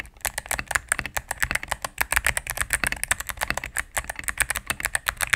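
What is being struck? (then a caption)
Mechanical keyboard with plastic keycaps on a plastic case. Rapid typing on a solid cream full-size mechanical keyboard with plastic keycaps on a plastic case, pressed with fingertips and medium nails. About 35 quick, dry clacks with a bright, short tick and almost no ring follow one another in an uneven, steady stream.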